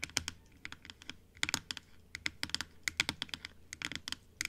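Long acrylic nails tap quickly on the top and teeth of a large, hollow plastic dental model that stands closed on a table. About two dozen sharp, dry clicks come in uneven bursts. Each click is bright and centered around 3 kHz, with almost no low end, and dies away almost instantly.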